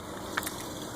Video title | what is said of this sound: Suburban low coolant sensor clean it don't replace it by froggy | if you shake it you can hear it move a little bit too